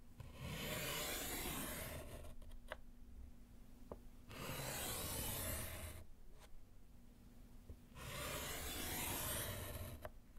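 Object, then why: Slate chalkboard in a wooden frame, written on with chalk. A gloved hand scratches vertical lines with yellow chalk on a small solid slate board in a wooden frame. Three long, bright, raspy scratching strokes are heard, separated by quieter pauses with faint light taps.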